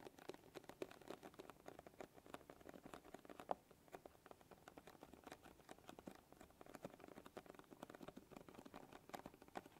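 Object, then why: Small closed cardboard box. A small, flat, closed printed cardboard box of kinetic sand is held up, then laid flat and tapped and scratched with long glittery acrylic nails. A quiet, steady stream of soft, dry clicks and scratchy taps is heard, centered in the mid range with little low or high energy. Each tap is short with almost no ring, and a slightly louder click stands out partway through.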